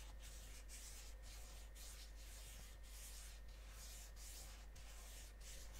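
Fingertips and nails rub and scratch the face of a flat, rectangular, medium-size gold-printed Lindt Champs-Élysées cardboard chocolate box that is likely full. It makes a quiet, continuous scratchy rubbing with bright, hissy strokes broken by brief pauses, over a steady low hum.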